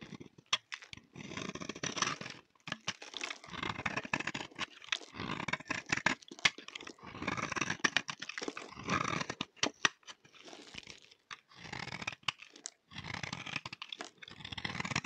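A solid, dry, cream rectangular laundry bar soap is held in the hand and scraped with a utility knife blade. Repeated bursts of bright, crunchy scraping come in quick strokes separated by brief pauses, with sharp little crackles throughout. The blade peels off dry, crunchy shavings.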